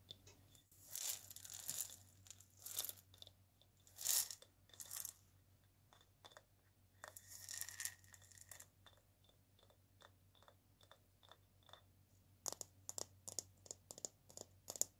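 Long nails scratch along the ridged wooden handle of a single dried gourd maraca, then across its hollow gourd body. The sound is quiet, dry and bright: crunchy, rasping scrapes come in short bursts, separated by sparse light clicks, with a faint low hum underneath. A quick run of sharp scratches closes the clip.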